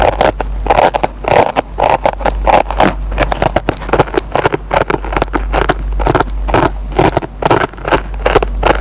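A metal pen tip scratches and picks at the fibers of a dry kitchen sponge's green nylon scouring pad. The result is a dense run of rough, crackling scrapes and short plucks, mostly in the midrange, over a steady low hum.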